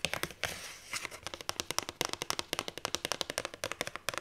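A hand reaches through the die-cut hole of a paperback book's paper cover, and long nails grip, scratch and crinkle the cardstock. A burst of bright, dry crinkling and scratching gives way to a fast, uneven run of sharp nail clicks, about thirty-three in all, with almost no ring or low end.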